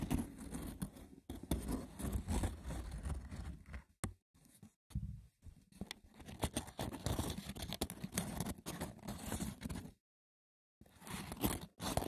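The textured woven surface of a wicker basket is scratched roughly and tapped, giving a dense, crackly scraping with a low, heavy body and sharp clicking bursts. The sound comes in uneven flurries, broken by brief gaps near the middle and a full stop of nearly a second before the scratching resumes.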